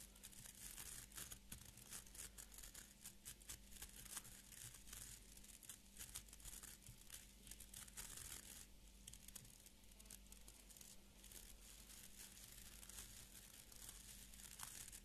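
A small beard brush with an orange wooden back and stiff fibre bristles is held in both hands while fingernails scratch and flick along the bristle tips. The result is a quiet, continuous stream of bright, crackly scratching with rapid crisp flicks throughout. A steady low hum runs underneath.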